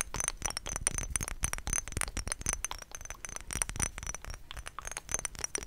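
A thick glass perfume bottle, partly filled with yellow liquid and topped with a white plastic daisy cap, is tapped rapidly with long nails on the glass. Dense bright clicks and clinks come with thin high ringing tones, each tap dying away almost at once.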